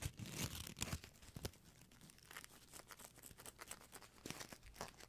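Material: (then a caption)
Foil plastic. A small, shiny gold foil-plastic ribbon gift bow is held in fingertips with long nails and squeezed and crinkled close to the microphone. It gives quiet, dry crinkling and crackling, with sharp, bright bursts near the start and again near the end, and a steady rustle in between.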